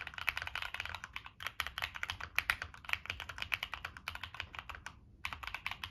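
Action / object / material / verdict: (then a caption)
tap / mechanical keyboard with plastic keycaps and metal case / plastic / none. Fingertips type steadily on a Monsgeek M1 mechanical keyboard with NK Cream switches, a dark metal case and purple-and-black plastic keycaps. The keystrokes are crisp, bright clacks with very short decay. A brief pause near the five-second mark interrupts the rapid typing before it resumes.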